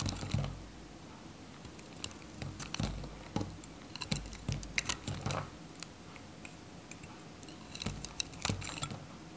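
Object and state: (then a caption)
Dry bar soap being cut. A solid, dry, varnished white Godrej No.1 bar soap is held in the fingers while a metal craft knife cuts pieces off it. Short, crisp crunching clicks come in scattered bursts, bright and dry with almost no ring, over a quiet low background.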